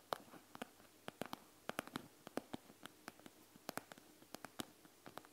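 Long fingernails tap and scratch the plastic surface of a panda gel bead eye mask, over the gel beads inside, first with one hand and then with both. About two dozen short, sharp, bright clicks sound at an uneven pace, each dying away instantly, with a faint scratchy patter between them at a quiet level.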